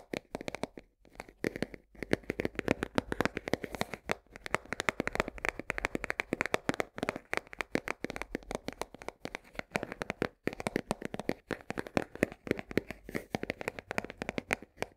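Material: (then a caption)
Cardboard. Long nails tap rapidly on the side of a full 1 kg cardboard box of coarse salt. The taps are dry, crisp clicks with a papery midrange body and no ring, coming in dense, fast bursts with brief pauses.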